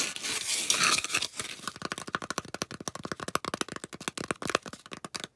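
Long acrylic nails scratch and tap quickly along the rim and face of a solid, round white polystyrene foam disc. A dense, bright scratching hiss fills the first second, then gives way to a rapid run of dry, crisp clicks and squeaky scrapes with almost no ring and very little low end.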